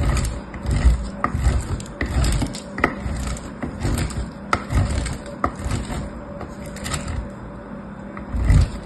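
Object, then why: Bar soap on metal grater. A striped orange-and-white bar of solid soap, held in blue-nailed fingertips, is rubbed across a blue metal grater with a red handle. Steady rough scraping strokes with sharp little clicks and crackles are heard, heavy in low rumble. Grated soap crumbs pile up below.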